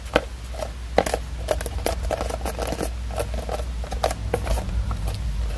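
A small red hardcover book with a paper-covered board cover is held upright while long acrylic nails tap and scratch its cover and spine. The result is a run of short, dry clicks and brief scratchy strokes over a steady low hum. A few sharper taps stand out near the start.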